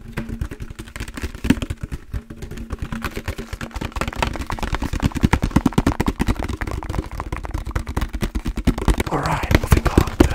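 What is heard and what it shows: A large, empty, hollow, translucent green plastic jug with a green lid is held in the hands and tapped rapidly with the fingertips. The result is a fast, uneven patter of dull, hollow, low thumps that die away almost instantly.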